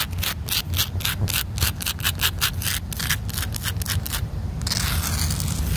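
Long black nails scratch and rub quickly across the top of a round black rubber-crumb stepping pod on a playground, a solid, dense, rough-textured surface. Rapid, bright, gritty scraping strokes sit over a steady low rumble, then briefly drop away before a continuous hissing rub runs to the end.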